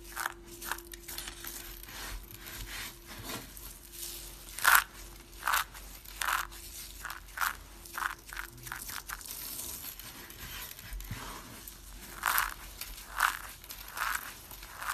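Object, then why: Dry soap flakes. A hand with long pink nails grabs and crushes handfuls of brittle, solid, cream-white dry soap shavings on a table. Dry, bright crunches and crackles come in irregular bursts over a low, steady background hum, with a few sharper, louder crunches standing out. Each crunch stops almost at once with no ring.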